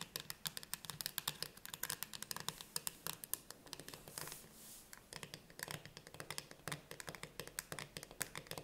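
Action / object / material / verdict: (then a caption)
tap / steel food can lid / steel / none. Long nails of both hands rapidly tap the metal lid of a full steel can of chickpeas with a paper label, standing upright. The taps are quick, dry and bright clicks with almost no ring, briefly softening into a light scratchy brush near the middle before the fast tapping resumes.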